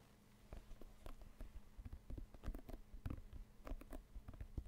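Fingertips and nails tap and scratch the panels of a full-size inflated synthetic leather soccer ball, hollow and white with red and orange panels, held in both hands close to the microphone. The result is a quiet, irregular run of dull, deep thumps with short scratchy ticks that die away almost instantly, over a low steady hum.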